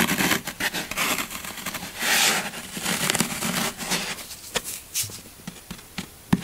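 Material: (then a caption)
Foam. Fingertips and nails press and scratch the side of a solid green floral foam brick held upright. Dense, bright crunching and scraping fills the first few seconds, with a louder crinkling swell near the middle. It then thins into sparser sharp crackles and clicks.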